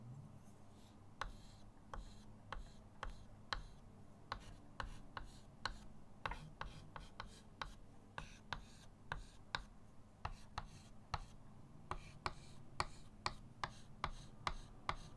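A green chalk stick is dabbed and scratched in short leaf strokes on a flat, solid chalkboard in a wooden frame resting on a table. About 29 quiet, crisp taps land at a steady pace, each a brief dry tick with a bright scratchy edge that dies away almost instantly. A low, steady hum sits underneath.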